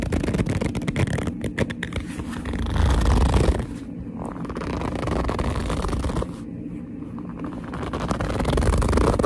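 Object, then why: Leather handbag. Fingers with long nails grip and rub the surface of a hollow black leather handbag up close, making squeaky, scratchy rubbing sounds. The texture is dense, continuous and heavy in the lows, swelling louder around the third second and again at the end, with quieter, duller stretches in between.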